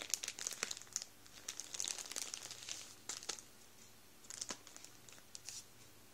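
Fingertips rub and squeeze the end of a full Warburtons plastic bread roll bag, crinkling the plastic up close. Bright, crisp crackles come in bursts, concentrated in the high range with little low end, and grow sparser and quieter toward the end, with brief pauses between bursts.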